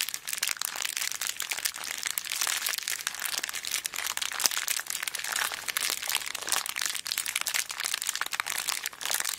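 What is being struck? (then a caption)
Small plastic zip bag full of beads. A small clear plastic zip bag full of colourful beads is held in both hands and squeezed, with nails pressing into the plastic. It makes a steady, dense stream of bright crinkling and crunching with tiny clicks throughout. There is almost no low end, and each crackle stops at once.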